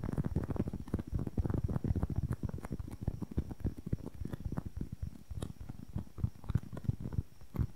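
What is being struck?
Foam makeup sponge.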